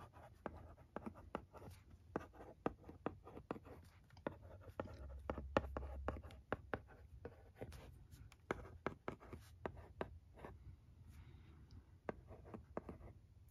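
A pencil-shaped stylus held in the fingers scratches and taps across the dark blue screen of a flat, thin plastic LCD writing tablet lying on carpet while writing. Many quiet, sharp, dry ticks come in an irregular rhythm, joined by brief scratchy strokes over a faint low rumble. The taps stop almost instantly, with no ring.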